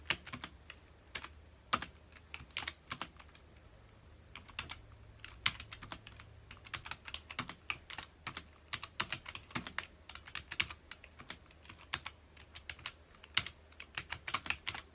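Both hands' fingertips press the keys of a full-size black plastic computer keyboard rapidly on a dark desk. The result is quick, bright, clicky typing taps in uneven bursts with brief pauses, over a faint low steady hum.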